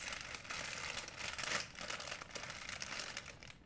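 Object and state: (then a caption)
Plastic shopping bag crinkling. An empty white printed plastic shopping bag is rolled and squeezed by hands, producing a steady, bright crinkling that lasts the whole clip. The rustle is dense and papery with little low end, swelling to its loudest crackle around the middle before easing off at the end.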